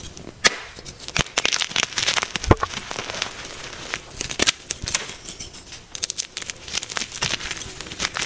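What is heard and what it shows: A soft, solid white magnesium carbonate gym chalk block is gripped in both hands and broken apart, with thumbs with pink nails pressing and crumbling it over chalk powder. The clip is a dense run of sharp, bright crackles and dry snaps with crumbly crunching between them, each break stopping almost instantly with little low end.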